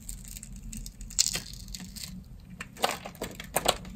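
A blade scores a solid, hand-sized, translucent green bar of dry soap held in the hand into a grid and chips off small cubes. The cuts give dry, brittle crunching and crackling scrapes with sharp, bright cracks that stop almost instantly.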